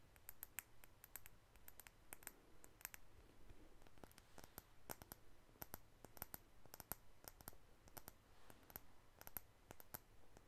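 Long acrylic nails tap a small, apparently full plastic Covergirl liquid foundation bottle with a blue cap. The result is a quiet stream of sharp, bright clicks in an uneven rhythm, each dying away almost instantly over a faint low background hum.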